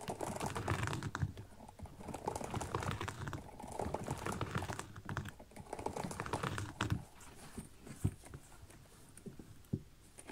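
Fingernails tap and scratch on the upper and the zipper area of a small synthetic leather kids' boot with a zipper. The quick, irregular taps sound dull and soft, with short scratchy rustles and a few louder clicks in between.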